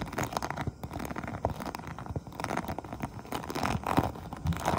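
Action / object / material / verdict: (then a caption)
tap / textured vinyl pouch / vinyl / none. Long painted nails tap and scratch the textured top of an iridescent, holographic faux-croc vinyl pouch lying flat. The result is a quiet, steady stream of soft crinkly clicks and scraping rustles, with short dry taps that die away at once and a muffled, low-leaning tone.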